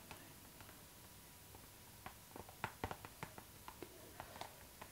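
Long nails tap and scratch across a clear pink PVC zipper pouch, a transparent pink vinyl bag lying flat. Quiet, sparse clicks come first, then a livelier run of sharp, crisp plastic taps with bright edges and almost no ring. A faint steady tone hums underneath throughout.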